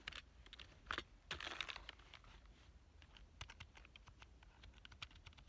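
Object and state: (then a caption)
Plastic computer keyboard. Fingertips type on the keys of a black plastic full-size keyboard with a hollow body. Quick, bright, dry clicks with almost no ring come at an uneven pace, with a denser flurry near the start. They fade into lighter, scattered taps over a faint low hum.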